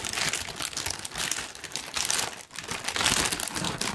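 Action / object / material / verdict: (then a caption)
scrape / thin tissue paper sheet / paper / none. A large, thin pink tissue paper sheet is crumpled with both hands, producing a dense, continuous bright crinkling with little low end. The rustle swells and eases in waves, dipping briefly near the middle before building again.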